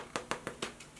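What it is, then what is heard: Baked-through bread loaf, hollow. A freshly baked white bread loaf, just out of the oven after 36 minutes and still in its pan, is tapped five times, giving short, dry, hollow knocks with the last one fainter. The hollow sound shows the loaf is baked through.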